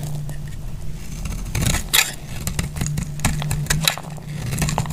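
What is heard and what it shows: A metal blade cuts into a solid, dry red striped soap bar held in the hand, producing crisp, bright crackles and scraping snaps as flakes break away. The cuts come as a series of short, sharp clicks over a steady low hum.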